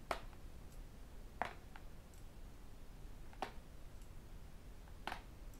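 A thin, flat tablet with a glass screen and an aluminium back, held in one hand, is tapped on its edge and screen with fingertips and metal rings. A few sharp, brief clicking taps sound at spaced intervals, each with a bright attack that dies away almost instantly over a low, steady background hum.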